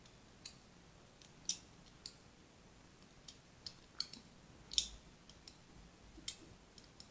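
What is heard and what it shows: A thin blade tip scores and scratches lines across a solid striped soap bar held in a hand with long red-nailed fingers. About 11 quiet, bright, crisp scrapes and clicks come at irregular intervals, each dying away almost at once over a soft, faint background hiss.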